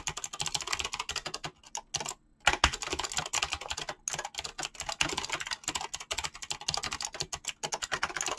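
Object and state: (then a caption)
Mechanical keyboard with PBT plastic keycaps. Fingertips type fast across a mechanical keyboard with dyed PBT plastic keycaps, producing a dense stream of short, bright clacks with almost no low end. Brief pauses break the rapid typing near the two-second mark and again around four seconds, and each keystroke dies away almost instantly.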